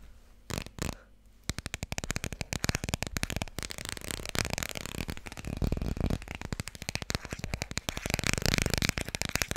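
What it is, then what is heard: Cardboard board book. A small, thick children's board book with solid, glossy laminated cardboard pages is held in both hands and tapped quickly on its cover and spine with long red-painted nails. After a couple of soft taps, a dense, steady stream of rapid, dry clicks follows, each one short with a low, hollow thump under a bright tick.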